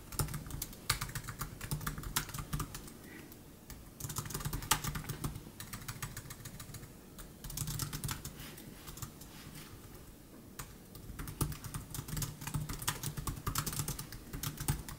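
Both hands type with their fingertips on the plastic chiclet scissor keys of a silver aluminum 2015 MacBook Air laptop. The result is a steady stream of soft, quick clicky taps. The typing comes in three busy bursts separated by quieter stretches, with bright, short key clicks over a low hum.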